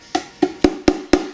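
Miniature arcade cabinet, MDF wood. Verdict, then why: Solid. Five quick taps on the side of a 1/6 scale MDF replica arcade cabinet give short, dull wooden knocks with a low pitch and almost no ring. The cabinet sounds solid and well built rather than light and hollow.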